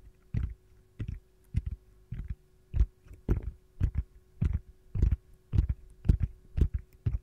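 Long gold nails tap and scratch on the back of an empty, hollow, round yellow silicone ice cube tray shaped like a lemon slice, turned upside down. A quiet series of soft, dull, low thuds with brief scratchy edges repeats at an uneven pace of roughly two per second. Each one dies away almost instantly, with no ringing.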